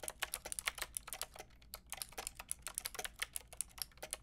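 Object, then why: Plastic mechanical keyboard with round keycaps. A white and pink Lofree mechanical keyboard with round plastic keycaps is typed on with long painted nails and fingertips. About 27 quick, bright plastic clicks and taps come in an uneven rhythm, with a brief pause in the middle, each dying away almost at once.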